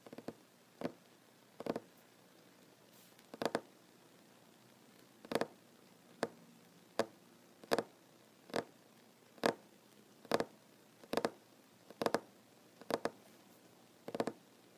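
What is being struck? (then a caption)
Wooden tabletop tapped with fingernails. Short fingernails tap on a solid wooden tabletop near a plank seam in a slow, irregular series of light, dry clicks, some landing in quick pairs. Each tap is brief with almost no ring, a mid-pitched knock over a quiet, faint background.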